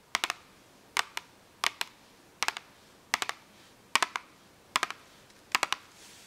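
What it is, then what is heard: Cardboard marker box. Long acrylic nails tap and scratch a small printed cardboard box of 8 washable markers, with a clear plastic window, full of markers and lying flat. Eight quick bursts of two or three crisp, bright clicks are heard, each dry with almost no ring and no low end, over a quiet background.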